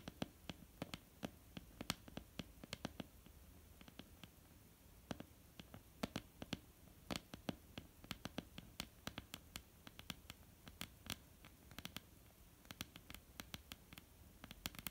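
A flat, solid wooden tabletop is tapped with the nail tips and fingertips of both hands. Dozens of quiet, irregular taps land as short, dry clicks with bright edges and no ring, some sharper than others, over a faint low steady background.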